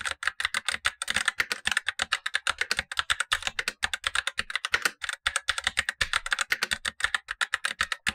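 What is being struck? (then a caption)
Plastic mechanical keyboard. Blue-gloved fingertips type steadily on a Razer BlackWidow Lite, a tenkeyless plastic mechanical keyboard with black plastic keycaps and tactile switches, the upper of two keyboards while the lower one stays untouched. Quick, bright, clacky keystrokes follow one another in a rapid, even stream, each dying away almost instantly, with a clear midrange tick and very little low end.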